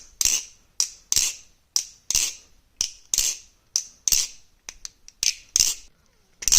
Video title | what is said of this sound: Hourglass and stock Kraken comparison and little Kraken talk! | if you shake hard enough a bit of play